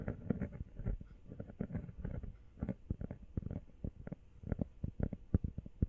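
Long nails tap fast on a small, empty, hollow teal rubber phone case held close to the mic and partly hidden by hands. The result is a quick, uneven run of dull, soft thuds, mostly low and muffled, each dying away at once with no ring.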